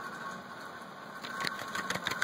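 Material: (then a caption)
Tin-plated steel. A very swollen, spoiled metal can of Spam that was kept in a vehicle is shaken; such cans are normally vacuum packed, and this one's base is warped. Over a steady background hum, about six short, bright sloshing knocks come in the second half of the clip. The audible contents confirm the can has gone bad and is no longer vacuum sealed.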